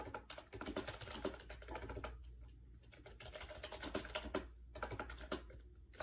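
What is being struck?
Plastic keyboard with round keys.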